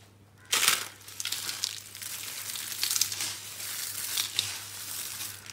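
Flat palms and fingers press, rub and crush a pile of crushed pink dry soap flakes on a green surface. After a brief quiet moment, a sudden bright crunch gives way to continuous dry, crackling and crinkling rustles that swell and fade with each press. A faint steady low hum runs underneath throughout.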